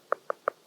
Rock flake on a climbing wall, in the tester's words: if you tap on it, you can really hear it. We never want to be climbing over stuff that's hollow that could potentially just break, rip off the wall